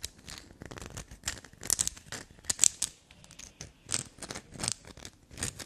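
Long black nails scratch and scrape a solid black soap block with a grey scraped face. Quick, dry, bright rasping bursts come one after another, crisp and crumbly with almost no low end, and each stroke stops short without ringing.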